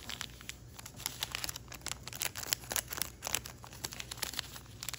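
Fingertips run along and rub the creases of a narrow folded piece of thin origami paper, then lift it. The result is a quiet, steady stream of crisp, bright rubbing and crinkling, with many short, dry crackles and almost no low end.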